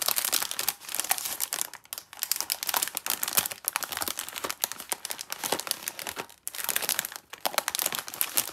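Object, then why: Plastic film cookie wrapper. Long red-nailed fingertips grip and squeeze the red plastic-film wrapper of a full Bonitki chocolate cookie pack, about 20 cm long, resting on a green mat. They crinkle and rub the wrapper, making dense, bright, crackling rustles with almost no low end. The sound runs in bursts, with brief quiet dips around 2 and 6.4 seconds.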